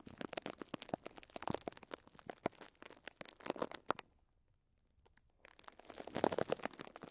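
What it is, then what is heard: Plastic cling film over a sponge. Fingertips rub and scratch the crinkly top of thin clear plastic cling film wrapped around a small pink and yellow sponge block. Soft, rapid crinkling and scratching come in dense bursts, broken by a near-silent pause around four to five seconds. The rustling then returns slightly louder toward the end.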